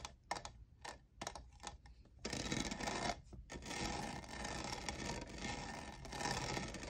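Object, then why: Faceted plastic tumbler. Fingernails tap and scratch the lower faceted side of a tall, hollow, lavender plastic jeweled tumbler that appears empty. A series of short, sharp, bright clicks comes first, then turns into a steady, dense, crackling scratching that fills the rest of the clip.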